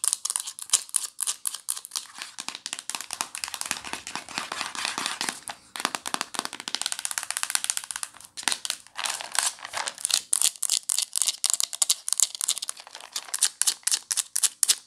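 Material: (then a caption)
Plastic. Long nails tap and scratch on a small, hollow white plastic valerian supplement bottle, working over its label and its green plastic screw cap. Rapid, dry, bright clicks alternate with stretches of denser scratchy rasping, all high and thin with no low end and almost no ring.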